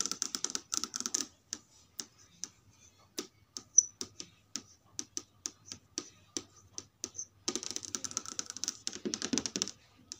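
Long red nails and fingertips tap and trace across the smooth plastic and glass panel of a large flat LED TV screen showing a menu page. Rapid flurries of bright, crisp clicks open and close the clip, with slower, evenly spaced single nail taps in between. Each tick is sharp and high-pitched and stops dead with no ring.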